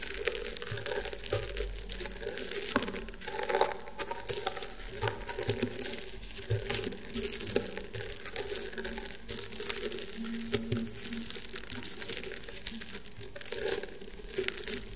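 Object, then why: Woven rattan table mat. Fingernails scratch across the coiled weave of a flat, round woven rattan table mat. The result is a continuous dry, crinkly rasping, dense with tiny clicks and bright, crisp texture over a faint low hum.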